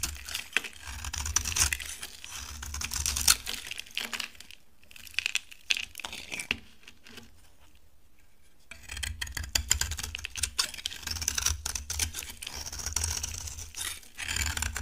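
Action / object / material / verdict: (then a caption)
scrape / bar of soap scraped with a knife / soap / none. A utility knife carves and scrapes a solid, dry orange-yellow bar of soap, breaking off crumbly flakes. Bright, crackly scraping and dense little clicks run throughout, with a low hum underneath. The sound thins to near silence around the middle before the carving picks up again.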